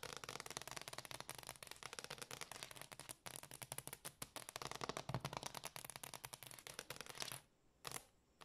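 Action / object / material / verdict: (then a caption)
tap / wooden floor / wood / none. Long dark-painted fingernails on both hands rapidly tap and scratch a large, solid, dark glossy hardwood floor. The result is a dense, continuous stream of crisp, bright clicks and scratchy rasps with almost no ring. Near the end it drops to near silence, with one brief burst before stopping.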